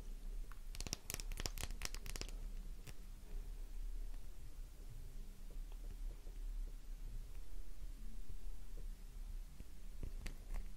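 Long nails scratch a solid pink, flower-shaped Faberlic bar soap, carving out crumbly flakes and shavings. A quick burst of sharp, bright scratching crackles comes early on. It is followed by quieter, low, rumbling scrapes under a steady low hum, with a few more crisp scratches near the end.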